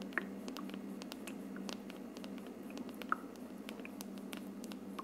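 Long purple nails tap the side of the hollow frosted plastic dome of a misting aroma diffuser. Quick, light, dry clicks patter over a steady low hum, with two sharper taps standing out near the start and around the three-second mark.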